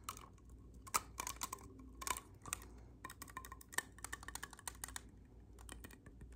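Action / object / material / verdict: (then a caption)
tap / clarinet with metal keys / metal keys / none. An assembled black clarinet, a hollow black tube with silver metal keys, is held in both hands while fingertips press and click its keys and pads. Quick, sharp, bright clicks and light taps come in irregular bursts, each dying away almost at once. A faint low hum runs underneath.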